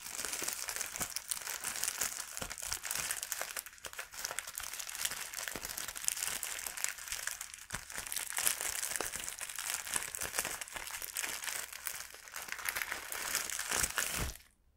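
Fingertips handle and crinkle a clear plastic packet of bread bags while a bag is pulled out of it. The result is a steady, bright crinkling with dense small crackles and almost no low end. The crinkling continues throughout and then stops abruptly near the end.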